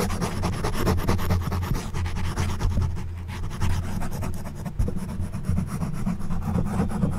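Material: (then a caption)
Foam. The prongs of an orange plastic back scratcher, held in one hand, scratch across the top of a soft, porous black foam windscreen on a silver condenser microphone. Repeated rasping scratches blend into a steady, muffled, low-heavy rustle with almost no high end.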